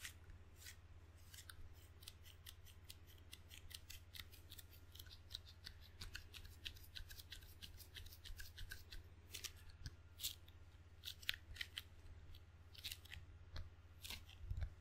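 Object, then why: Rubber-faced wooden table tennis paddle. Fingertips slap and peel on the sticky red and black rubber faces of a wooden-bladed table tennis paddle, making a rapid run of short, bright, crackling ticks. The ticks rise and fall irregularly over a steady low hum.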